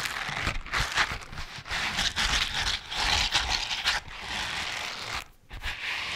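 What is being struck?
Rubber dishwashing glove.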